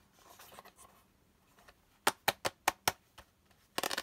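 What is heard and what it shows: Fingertips and nails softly scratch the textured surface of a small, hollow, pink quilted-pattern hard plastic toy purse with a handle, which is empty when opened. Five sharp, bright plastic taps and clicks follow in quick succession, then a fainter tick, as the lid is opened and closed, ending in a brief rattling cluster of clicks.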